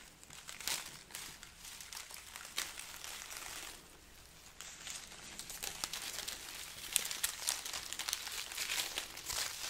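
A strand of dried, papery red chilies from a chili pepper garland is held close and scratched and crinkled with long nails. The result is a steady, bright, dry crackling and rustling with many quick, sharp crinkles and almost no low end. There is a brief quieter lull near the middle before the crinkling picks up again.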